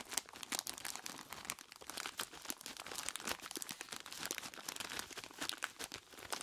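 Both bare hands squeeze and rub a large clear plastic bag full of ice cubes, producing a steady stream of dense, crunchy crinkles. The sound is bright and crackly, with almost no low end and quick, dry bursts that die away immediately.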